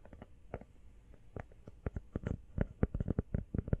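Long nails tap fast and close to the mic on a small, hollow, empty teal rubber phone case that is mostly covered by hands. The result is a quick, irregular run of dull, muffled thumps, heavy in the low end with almost no brightness and no ring. The taps grow louder and more frequent toward the end.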